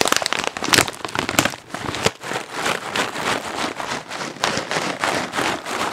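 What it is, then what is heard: Plastic snack bag being crinkled. A medium, light-blue printed plastic film snack bag that appears full is held in both hands and squeezed, crinkled and tapped with long nails and fingertips close to the mic. Dense, bright crackling and crinkling fills the clip, loudest and busiest in the first two seconds with sharp snaps. After a brief dip, it settles into a steady run of rhythmic crinkly swells with little low end.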